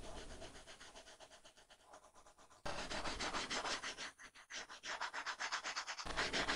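A plastic stylus tip rubs quickly back and forth across an iPad's flat, solid glass screen covered with a matte plastic screen protector, filling in color. The rapid, rhythmic strokes make a dense, bright scratching and rubbing sound that grows noticeably louder partway through, dips briefly, then swells again.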